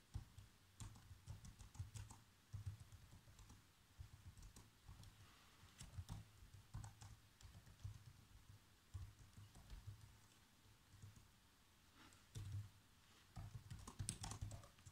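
Fingertips with short nails type fast across the keys of a black plastic chiclet laptop keyboard, typing out a movie script. The result is a steady stream of quick, light taps and clicks with bright, short-lived transients over a faint low hum, broken by brief pauses between bursts.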